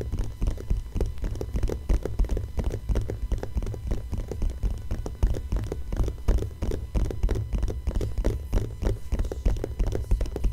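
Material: Glossy paper.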